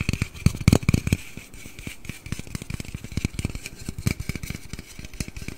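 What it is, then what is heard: Aluminium drink can. A large, hollow aluminium Red Bull energy-drink can is held close to the microphone and tapped and scratched with fingertips and nails. Quick, dull low thumps come in dense irregular bursts, heaviest in the first second, over a faint bright scratchy hiss, with no ringing after each tap.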